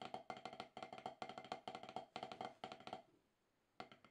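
Wooden drumsticks tap alternately on a solid octagonal HQ rubber-top drum practice pad in quick, short bursts of dry, woody clicks with a bright knock around 750 Hz. The taps stop briefly after about three seconds, then one more burst of taps begins.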